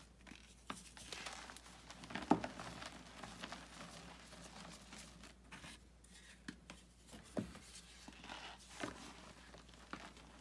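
Bare hands squeeze and crush a solid pressed block of white gym chalk (magnesium carbonate) over a large white bucket full of loose chalk powder, and the powder crumbles through the fingers. Quiet, dry crunching and gritty crackling run throughout, with a few sharper crunches standing out, the loudest near the start and another later on.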